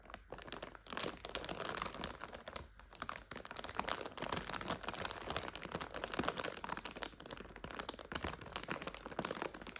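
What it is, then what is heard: Plastic bag of dried egg noodles. Fingers squeeze a clear plastic bag full of dried egg noodles while long nails scratch the crinkly plastic. The result is a dense, continuous stream of bright crinkling and crunching with sharp little crackles. It stays at a fairly steady, moderate level throughout.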